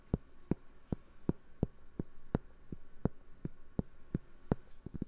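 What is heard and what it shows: Fingertips and fingernails tap and scratch the textured face of a large, round, flat, solid cork trivet or coaster held in both hands close to a binaural microphone. About sixteen short, dull, low thuds land at a fairly steady pace, with a faint scratchy rustle between them. Each tap dies away almost instantly with no ring.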